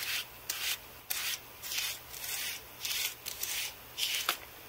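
A handheld carbon-fibre brush sweeps back and forth across the key rows of a white Apple Magic Keyboard, a thin, hollow aluminium body with plastic keys. The result is a series of separate, bright, airy rubbing and scraping swishes with almost no low end, separated by short quiet gaps.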